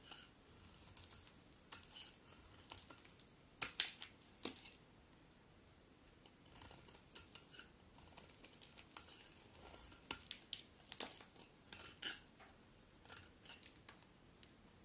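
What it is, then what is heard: Bar of soap being shaved. A utility knife blade shaves a solid cream bar of soap into thin flakes with repeated scraping cuts. The quiet, bright, crisp scratches come in irregular bursts, with a few sharper, louder strokes among softer shaving sounds.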